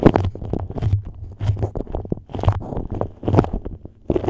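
Long nails scratch and crinkle a stiff, yellow patterned beeswax-coated cotton food wrap shaped over the microphone. The result is close, bass-heavy crackling and rustling in irregular bursts, with brief pauses between handfuls.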